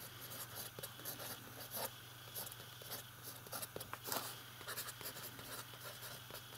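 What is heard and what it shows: A fountain pen writes large letters on the page of an open lined paper notebook, its nib scratching across the paper in quiet, bright, irregular strokes. A steady low hum sits beneath the scratching.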